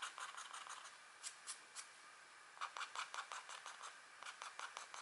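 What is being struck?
Coated scratch art paper sheet scraped with a stylus.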